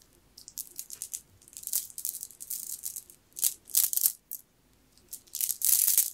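A long strand of solid, round, green jade-like beads on a necklace is held up, handled and shaken in the hand so the beads clack together. Irregular bursts of bright, high clicking and rattling come in quick clusters with short pauses, each click dying away almost instantly and with no low end.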